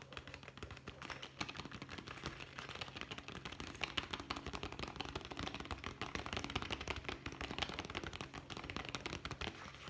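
A hollow brown leather zippered pouch, held horizontally, is rapidly tapped with the fingertips of both hands. The result is a dense, fast flurry of short, dry, bright taps that barely ring, running continuously over a faint steady low hum.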